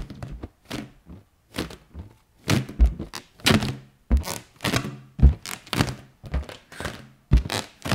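An inflated round yellow latex balloon, hollow and air-filled, is held and tapped with fingertips and long nails. It gives a rapid, uneven series of dull, low thunks, each with a faint bright tick that dies away almost at once.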